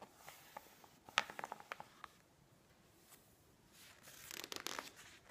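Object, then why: Thick glossy-paper magazine. Fingertips and long manicured nails rub and press the pages of a thick, open glossy-paper magazine lying on a wooden table, then a page is turned. Sharp, bright nail clicks and scratches come first, followed by a quiet pause and a soft, papery rustling swell as the page flips. Everything stays faint, with almost no low end.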